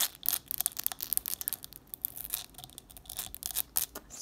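Long nails rapidly tap and scratch on the textured side of a small clear glass jar candle with red wax inside and a wooden-look lid. The sound is a quick series of bright, crisp clicks mixed with dry scraping, almost all high-pitched, with each tap stopping short and no ringing.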